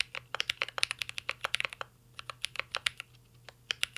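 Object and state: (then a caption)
Mechanical keyboard being typed on. Two hands type steadily with their fingertips on a full-size mint-green Cyberboard R3 mechanical keyboard with a metal case, plastic keycaps and Holy Panda switches, resting on a desk. Quick, bright, short clacks patter in an uneven rhythm, with a brief lull near the middle. A faint steady low hum sits underneath.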